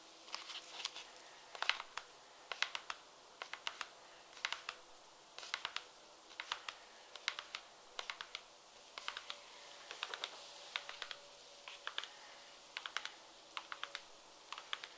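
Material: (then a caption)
Patent leather. Long red nails tap rapidly on the outer side of a light pink, glossy patent leather peep-toe pump held up empty, so the shoe sounds hollow. The taps come in quick clustered bursts of sharp, bright clicks that stop almost instantly, separated by short pauses over a faint steady hiss.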